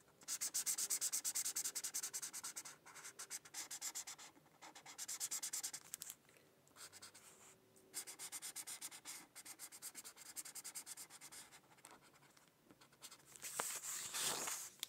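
A teal felt-tip marker is rubbed in quick back-and-forth strokes across a thin white paper coloring sheet to fill in a leaf. The result is a bright, dry, scratchy rasp that comes in bursts separated by short pauses, ending with a louder, sweeping stroke.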